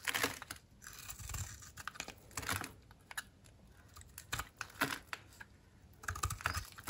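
A utility knife blade shaves white, crunchy curls off a dry, oval solid soap bar held in the hand, its surface coated in orange-copper glitter over a white interior. The clip is a run of short, crisp scraping and crackling strokes with a bright, papery edge and quick pauses between them.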